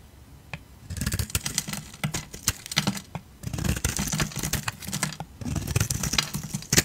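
A hand-sized, solid rounded yellow bar of soap held in the hand is shaved and scraped with a utility knife blade, peeling off curls. Quick, crisp scraping strokes come in dense bursts of bright clicks and rasps over a low, soft rumble, separated by brief quiet pauses.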